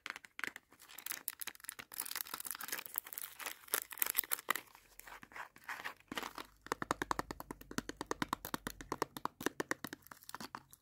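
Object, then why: Small cardboard box with a plastic film window. Fingers and nails rub and tap a small Batman candy sticks box made of cardboard with a film window. Bright, crinkly scratching and rustling fill the first half, then give way to a fast, steady run of sharp, dry taps that stop almost instantly.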